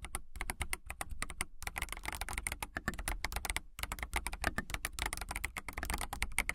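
Fingernails type quickly on a transparent clear acrylic mechanical keyboard with clear keycaps, producing a dense run of sharp, clicky key taps with a soft low thump beneath each press. The taps are bright and short with almost no ring, and come in a steady flurry broken by a couple of brief pauses.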